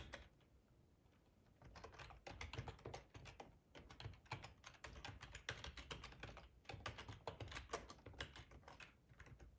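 Fingertips tap on the keys of a black, hollow-bodied plastic split ergonomic computer keyboard. After a quiet, faint start, a rapid stream of short, sharp clicks runs steadily to the end, with bright key clatter over a soft low thump.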